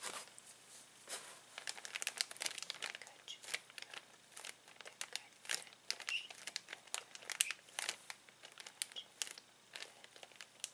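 A clear plastic zip bag full of small plastic toys lies on a table while an open palm and fingertips press and rub it. The result is a steady run of bright, crisp crinkles and sharp crackles with no low end, each snap dying out almost instantly.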